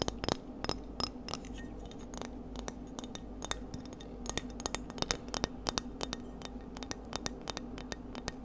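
Seashells are tapped in a quick, irregular series of many light taps. Each tap is a short, dry click with a bright, glassy clink and almost no ring. A steady low hum runs underneath throughout.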